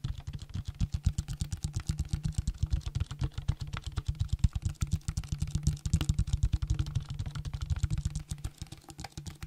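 A clear plastic drink bottle with a label, held in the hand, is tapped quickly with fingertips and nails. A steady stream of rapid, dense taps gives hollow, low thumps with short clicky ticks that stop almost at once, continuing without a pause for the whole clip.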